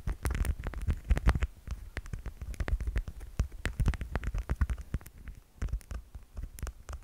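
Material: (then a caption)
Plastic. Fingers tap rapidly and unevenly on a plastic cat figurine, producing a steady stream of soft, dull taps with a deep thudding body and sharp, clicky tops. Each tap dies away almost instantly, leaving a dry patter with no ringing.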